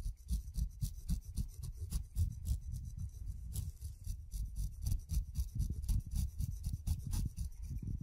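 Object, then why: Kiwi fruit skin scraped with a steel blade. A steel razor blade is drawn again and again across the hairy skin of a whole, solid, fuzzy kiwi fruit, scraping off the fuzz. The close, quick, uneven strokes make soft rasping, low rubbing sounds with a faint bright crackle.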